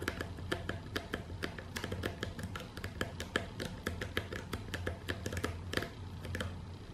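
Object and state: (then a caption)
Cardboard shipping box. Both hands, with long dark-painted nails, tap and scratch the side of a medium, hollow corrugated cardboard box that is closed and taped. A quick, uneven run of short, dry clicks and taps sits over a steady low hum, each tap dying away almost at once. Faint music or speech runs softly underneath.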